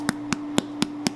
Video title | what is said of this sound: How To Make Arepas, A Venezuelan Treat | looking for that hollow drum sound and that's the indicator that these are done